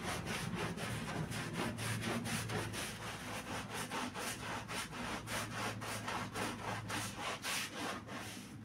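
A gloved hand vigorously scrubs a wet, foamy black-and-red pile rug with a green handheld bristle brush. Rapid, rhythmic, rasping back-and-forth strokes come at about four per second, bright and swishy over a faint low steady hum, and continue evenly throughout.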